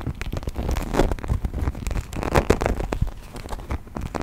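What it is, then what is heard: Plastic toy figurine. A hand-sized brown textured plastic toy mammoth figurine, held upright, is tapped and scratched with fingernails. A dense run of quick, dull clicks and scratchy crackles follows, mostly low in tone, and each tap dies away almost instantly.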